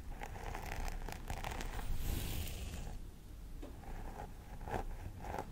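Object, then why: Plastic doll head with synthetic hair. Both hands scratch the scalp of a life-size plastic doll head with synthetic hair near the part, using long nails. Crisp, bright scratching and rustling bursts come in quick, uneven strokes over a steady low rumble, briefly softening before building again.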